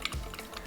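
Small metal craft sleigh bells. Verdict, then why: No clappers. Decorative Dollar Tree craft sleigh bells without clappers inside are shaken together, giving a few soft, dull clanks with short bright ticks and no ring. They don't jingle because none of the bells has a clapper.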